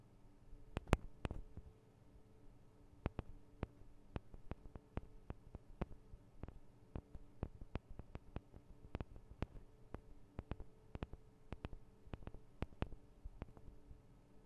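Long decorated acrylic nails on both hands tap the small hollow cylindrical metal microphone capsules and their metal guard wings on a Tascam DR-40 handheld recorder. Quiet, sharp, dry clicks come in irregular bursts over a low, steady hum, with a cluster of louder taps near the start.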